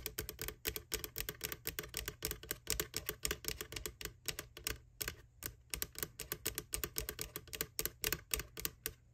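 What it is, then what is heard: Plastic bucket lid. Fingertips and nails tap, rub and scratch across the white plastic lid of an empty McDonald's Halloween Boo Bucket, just under the handle. It makes a rapid, uneven run of dry, bright clicks and scratchy strokes, each dying away almost at once, over a steady low hum.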